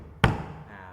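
A table is knocked once, giving a short, dull thud with most of its energy in the low range around 117 Hz and a brief, quickly fading ring. Faint background hum continues underneath.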